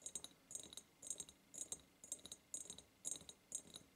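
Long purple nails tap fast on both sides of a large, hollow, ribbed clear glass jar. Quick bursts of bright, clicky glass taps come about twice a second, each burst holding several sharp ticks. The taps are short, with almost no ring.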